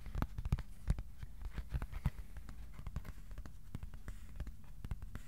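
Fingertips tap the underside of a thin white cardboard sheet held in both hands. Many quick, irregular, soft taps give dull, low, papery thumps that stop almost instantly, with a few louder knocks over a quiet low hum.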